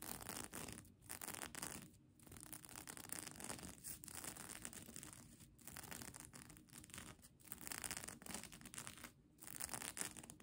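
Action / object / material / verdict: scrape / plastic sequin fabric blanket / plastic sequins / none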